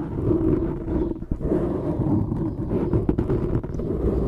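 Fingertips and short nails scratch and squeeze the surface of a dark grey foam microphone windscreen. The result is a dense, continuous low rumbling crackle, with a steady scratchy band in the low mids and a few sharper rustling spikes.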